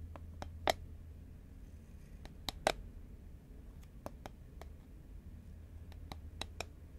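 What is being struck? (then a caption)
Paperboard chip tube. A green Pringles paperboard chip can, held horizontally and hollow, is tapped with long nails. Sharp, dry, bright clicks come at an irregular, unhurried pace, a few landing louder than the rest. Each dies away at once over a low, steady hum.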